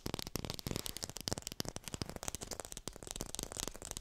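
A textured artificial plastic lime is fast-tapped and picked up by a hi-fi microphone. Rapid, dry, crisp taps run continuously, each with a low thud and a bright, scratchy top and almost no ring.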